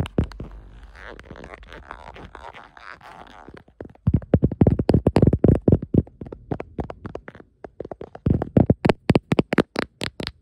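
Long nails scratch and tap the back and camera area of a beige ribbed silicone phone case held in one hand. A soft, quiet scratching texture comes first, then a rapid, uneven run of short, dull, low-pitched taps that stop almost instantly.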